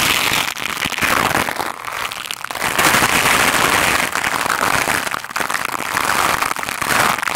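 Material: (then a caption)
Foam. A black foam microphone windscreen is swept fast and hard with the stiff white bristles of a lime-green scrub brush. The result is a dense, continuous crackling scratch, bright and hissy with almost no low end, surging and dipping slightly with each stroke but never going quiet.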